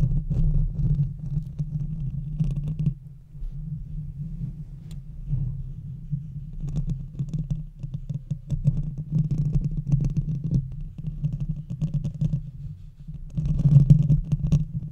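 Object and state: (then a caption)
Metal microphone grille scratched. Long red fingernails of both hands scratch across a hollow metal mesh microphone grille. The result is a dense, continuous low rumbling scrape, with nearly all its energy below 200 Hz and a steady low hum underneath. Brief brighter crackles surface at times, and the sound is loudest at the start and again near the end.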